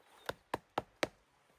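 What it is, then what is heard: Tree trunk tapped to check dryness. A tool taps a tree four times to judge how dry its wood is. Each tap is a short, sharp knock that dies away almost instantly.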